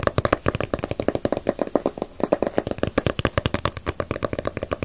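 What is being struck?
Paperback book with glossy paper cover.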